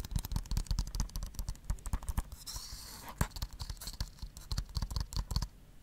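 Fingernails tap and scratch a hollow blue plastic Blu-ray case held in one hand. A quick, uneven run of sharp, dry clicks with a low, hollow thump is broken near the middle by a brief bright scratching rasp. The taps then resume and fade toward the end.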